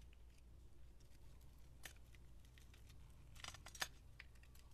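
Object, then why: Bar of soap cut with a knife blade. A utility knife blade scores a grid into a solid, hand-sized bar of orange translucent soap with gold glitter held in the hand, scraping off small cubes. Soft, crisp scratches and sharp, bright clicks rise over a quiet, steady low hum, with the loudest snap near the end.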